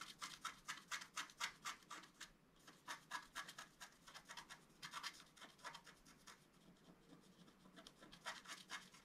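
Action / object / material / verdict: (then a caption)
scrape / wax-coated scratch-art card scratched with a wooden stylus / coated card / none. A wooden stylus scratches the coating of a flat, black-coated scratch-art card, about A4 size, lying on a table, using short strokes. Quick bursts of dry, bright, raspy scratching repeat at an uneven pace, with a brief pause a little over two seconds in. There is almost no low-end body.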